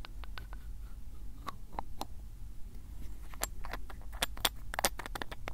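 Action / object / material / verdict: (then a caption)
scrape / glass ink bottle with plastic screw cap / glass, plastic / none. Fingers twist the black plastic cap of a glass ink bottle open and closed. Quick, bright clicks and faint scraping ticks sound over a steady low rumble, and they grow busier and louder toward the end.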